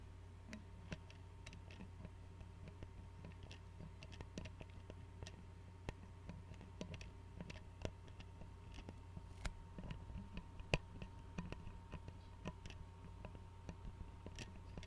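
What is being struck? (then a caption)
Glass tea bottle with metal screw cap. Fingernails tap and click on the screw cap and glass neck of an Arizona glass tea bottle filled with tea and held sideways. The taps come as quiet, sharp, bright clicks that die away almost instantly, scattered irregularly over a steady low hum.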